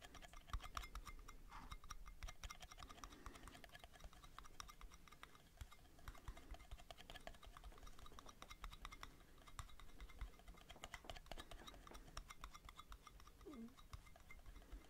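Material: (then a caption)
Metal. Metal lids are tapped rapidly with fingertips, recorded binaurally. Quick, light metallic clicks follow one another in a dense, steady stream, each dying away almost at once over a low hum.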